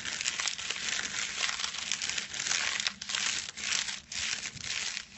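Fingertips scratch and crinkle a small rectangular package wrapped in silver foil resting on a white cloth. A continuous, dense, bright crackling rustle with short pauses fills the clip, mostly high in pitch with almost no low end.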